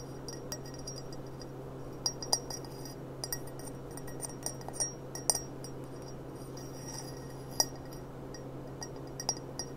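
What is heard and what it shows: A clear, empty gold-rimmed glass goblet is held upright by the bowl while long nails tap its thin glass stem and foot. The taps come as scattered, irregular, bright, short clinks that die away almost instantly over a steady low hum.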